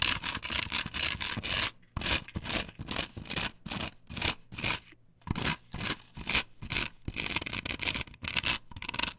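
Long nails scratch and rub across a flat, perforated plastic stencil template glued to a wooden board. The result is a series of bright, raspy scraping strokes in irregular bursts, a dense continuous stretch first, then shorter strokes separated by brief silences.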